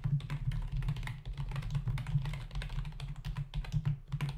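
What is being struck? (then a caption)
Plastic membrane computer keyboard. Fingertips of both hands type rapidly on a full-size black plastic membrane keyboard with hollow keys resting on a dark desk. A quick, uneven stream of short, hollow plastic taps and clacks runs throughout, over a steady low hum.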